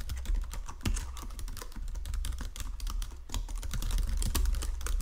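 Fingertips with painted nails type across the low-profile keys of a full-size white and silver plastic Logitech keyboard resting on a marble desk. Quick, irregular clicks and taps come in a dense stream, each short and dry over a low, soft thud.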